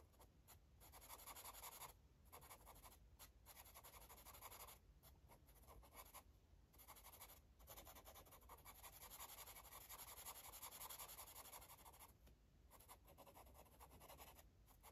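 A green marker tip scratches and rubs across a paper coloring book page as it colours, making a steady, quiet scratchy hiss with bright, papery texture. Short pauses break up the continuous strokes as the marker lifts and returns to the page.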